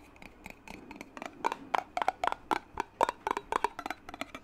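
A clear glass mason jar with a metal lid, partly filled with water, is held in one hand and tapped on its glass side with the fingertips of the other hand. About twenty-one quick, dry taps come in an uneven rhythm, each giving a short, hollow ping near 1 kHz that dies away almost at once.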